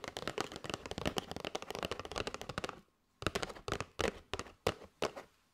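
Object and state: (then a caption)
Cardboard box of paper straws. Long nails rapidly tap and scratch a flat kraft cardboard box with a clear plastic window, full of paper straws, making a dense run of dry, papery clicks. After a brief silence, slower, separate taps follow, each with a short scratchy rasp that fades quickly.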